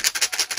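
A plastic paw-print shaker charm on a secret cat-design Bubble Egg figure, filled with loose gold pearl beads and little paw prints, is shaken four times. Each shake gives a bright, high-pitched rattle of the beads against the plastic, with no low end and almost no ring after each burst.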